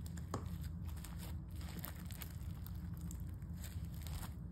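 Pale-yellow crunchy foam-bead slime, a soft, solid mass, is poked with fingertips, flattened with a palm, then pulled into a long stringy stretch. Quiet crunches and a tearing crackle flicker as bright bursts over a steady low rumble.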